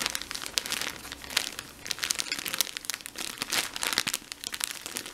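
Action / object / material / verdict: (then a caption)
scrape / soft plastic film package of cotton pads / plastic film / none. Fingertips with short nails press and crinkle a full, squishy soft blue plastic-film package of cotton pads. The result is a steady, bright crinkling made of dense, irregular crackles and sharp snaps, with almost no low end.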